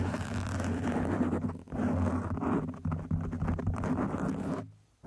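Long acrylic nails scratch and tap across the top and sides of a soft, porous black foam windscreen on a microphone. The result is a dense, muffled, low-heavy rustling and scraping with a steady rumble and brief dips between strokes. The sound fades to near silence just before the end.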